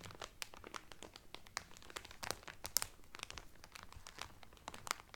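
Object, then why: Cellophane wrap over a folded towel. Fingertips and medium-length painted nails press and crinkle the loose, thin clear cellophane sealing a folded blue terry Carnival towel that lies flat on a table. The result is a steady run of quiet, sharp, bright crackles and crunchy snaps that die away instantly, with a few louder pops standing out.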